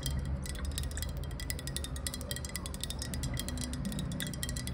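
Long nails tap quickly along a hollow, clear glass bottle held sideways in the hands, producing a rapid stream of bright, ringing clinks. A steady low rumble sits underneath the taps.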